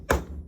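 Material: Metal.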